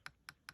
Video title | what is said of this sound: Testing Signature Crafts earring mold | It's actually pretty hard.